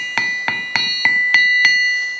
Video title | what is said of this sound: How to Build an Anvil Stand and Mount an Anvil so its Quiet!! Testing a Vevor Anvil. | You can really hear how much it rings back here.